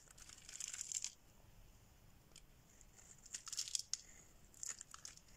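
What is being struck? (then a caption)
Bar of soap scraped with a metal blade. A metal blade scrapes a solid, dry pink bar of soap held in the hand, breaking flakes off it. Three bursts of quiet, dry, bright scraping and crackling are heard, with short pauses of near silence between them. Each burst stops cleanly with no ring.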